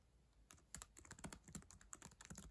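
Long acrylic nails and fingertips type on the plastic keys of a black ThinkPad laptop keyboard resting on a yellow blanket. After a brief quiet lead-in, a rapid run of sharp, dry clicks follows, each with a bright tick and a soft low thump that cuts off almost at once.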